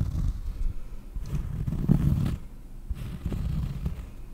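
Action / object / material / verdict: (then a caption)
scrape / cork surface / cork / none. Fingers scratch across a cork surface for ASMR, producing a soft, low, muffled rasping in uneven bursts. The scratching swells louder in the middle before easing off into quieter strokes.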